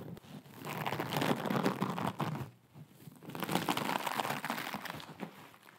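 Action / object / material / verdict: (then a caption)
scrape / nylon mesh scrub sponge / nylon mesh / none. A hand-sized, blue, glittery mesh scrub sponge is scratched and crinkled with long acrylic nails. The result is a dense, crackling crinkle with a bright, scratchy edge, coming in two long bursts separated by a brief quieter dip.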